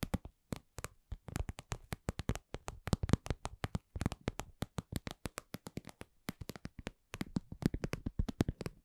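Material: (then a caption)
Vinyl. Long nails tap and scratch a glossy red patent vinyl (PVC) cosmetic pouch shaped like lips, medium-sized, soft and hollow. A steady run of many quick, dull, low-pitched taps with brief crisp edges dies away almost instantly, moving between slow and medium pace with short pauses in between.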